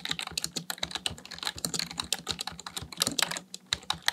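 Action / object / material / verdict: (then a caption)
tap / plastic computer keyboard / plastic / none. Fingertips type fast on a full-size black plastic computer keyboard, touch typing in a steady run of key presses. Each press is a short, bright plastic clack with almost no ring, and the keystrokes tumble over one another with only a brief pause near the end.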